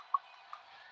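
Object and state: Hollow, cracked ice machine sonar sensor.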